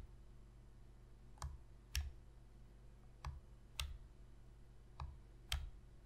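Long fingernails click six times on the shoulder buttons of a black, hollow plastic Sony PS3 controller held on edge. The quiet, sharp clicks fall roughly in pairs, each with a faint low thump and almost no ring against a soft background hiss.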